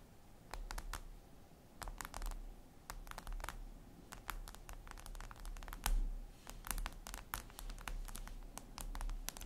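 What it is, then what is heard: Glass tablet screen tapped with fingernails. Long red nails tap rapidly on a flat, glossy black reflective glass surface, likely a tablet screen, producing quick, typing-like clicks. The short, bright ticks come in uneven bursts over a steady low hum.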